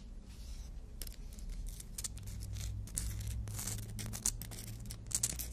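Natural fingernails are drawn in filing strokes across a long, thin, flat black-and-white emery board nail file with an abrasive surface, held in the other hand. Bright, dry scratching rasps come in quick bursts over a steady low hum.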